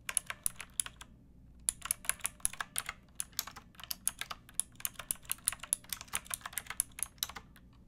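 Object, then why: Plastic mechanical keyboard. Fingertips and long painted nails type on a pink backlit plastic mechanical keyboard with round typewriter-style keycaps and a hollow case. A steady run of sharp, bright clicks with almost no ring pauses briefly near the one-second mark, then resumes over a faint low background hum.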